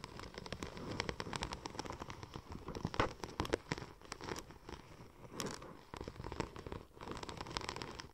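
Long nails tap and scratch the raised pattern of a curved, silver checker-plate-pattern vinyl wrap sheet. The result is a dense run of quick, dry clicks and crackly scratches with brief bright spikes, each one dying out almost at once.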